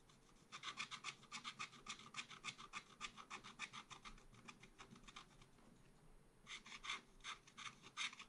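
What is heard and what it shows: A wooden stylus scrapes short vertical strokes into a black-coated scratch art paper page in a small spiral pad. It makes a quick run of bright, raspy scratches for about five seconds, a brief quiet pause, then another burst of strokes to the end.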